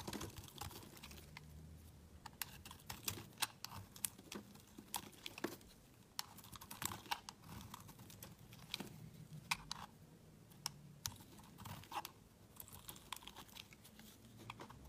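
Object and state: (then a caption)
Bar soap being carved. A solid cream-colored oval bar of soap, held in the hand, is carved and scraped with a utility knife blade. Quiet, crisp cutting clicks and brief bright scrapes come in an irregular, steady stream over a faint low rumble. Each stroke is dry and short, with almost no ring after it.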